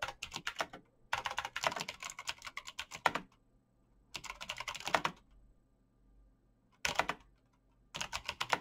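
Fingertips type fast on a black plastic mechanical keyboard with clicky switches, tapping out rapid bursts of sharp, bright key clicks. The bursts are separated by short quiet pauses, and each click stops almost instantly.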